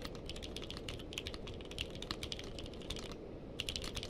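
Fingertips of both hands type continuously on a compact mechanical keyboard with a purple case and white and purple plastic keycaps, resting on a blanket. Quick, bright, short clicks and clacks follow one another in a steady rhythm over a constant low background rumble, with a brief lull partway through before the typing resumes.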